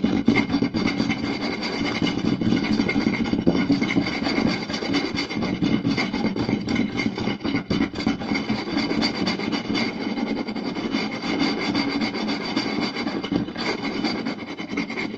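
Two hands quickly scratch and tap a round solid wooden plate with fingertips and short nails. The result is a dense, fast, uneven stream of woody taps and dry, rasping scratches at a fairly steady level, with a warm low-mid body and a bright, gritty edge.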